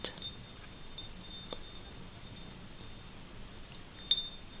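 A small glass vase is tapped and touched with the fingers, giving a few quiet, bright clinks with a faint ringing tone near 3.6 kHz that dies away almost at once. The sharpest tap lands near the end, over a soft low background hiss.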